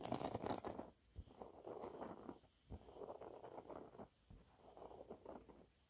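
A thin, flat, yellow textured cellulose sponge cloth is scratched with fingernails. Dry, crackly scratching sits mostly in the midrange and comes in short bursts of rapid strokes, separated by brief quiet pauses.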